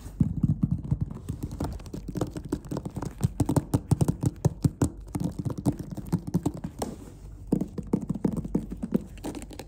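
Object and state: Leatherette clarinet case.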